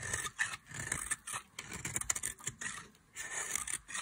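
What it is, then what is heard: Dry soap bar, scraped. A solid oval bar of dry yellow soap, held in long-nailed fingers, is shaved and carved with a metal craft knife blade. Short, bright, dry scraping strokes come in bursts separated by brief pauses. The blade rasps crisply across the hard soap with almost no ring.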